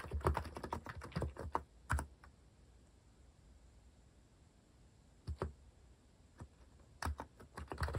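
Fingertips type on a compact Hanmumu mechanical keyboard with a white plastic case and plastic cat keycaps. Quick bursts of short, deep-thocking key clacks with bright click edges are heard, interrupted by a quiet pause of about three seconds. The typing resumes in two short clusters and a final flurry.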